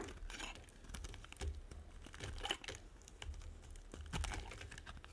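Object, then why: Soap bar scraped with a small metal blade. A small metal blade scrapes and carves flakes off the surface of a solid, dry, white, oval, hand-sized soap bar held in one hand, working in quick strokes. The result is a run of crisp, dry, crinkly rasps with bright, brief scratches over a faint low rumble, each stroke dying away almost at once.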